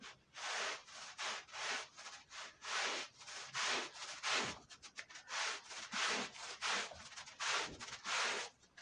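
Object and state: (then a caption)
Wool rug being scrubbed. A long-handled push brush scrubs a red woven wool Persian rug covered in white powder. Repeated bright, hissing bristle strokes rise and fall in an uneven back-and-forth rhythm, each one a dry scraping rub with almost no low end.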